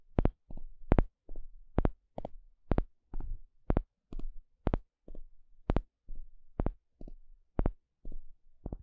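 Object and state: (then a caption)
Wooden paddle stick. A flat, thin, solid wooden spatula-shaped paddle stick is poked and scratched with a small plastic pick. It makes a steady series of short, dry, separate taps and scrapes, mostly low and thuddy with brief bright clicks on some strikes.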